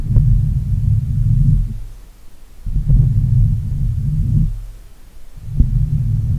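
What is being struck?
Metal mesh microphone grille.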